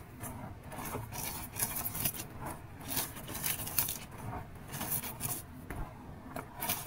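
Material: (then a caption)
Powder and sand. Bare hands grab, squeeze and crush handfuls of a large flat pile of loose blue Holi powder mixed with gym chalk and white sand spread on a light surface, rubbing it between fingers and palms. Repeated soft, granular crunches and gritty rubbing come in uneven bursts, with bright crackly grain detail over a low, muffled rustle.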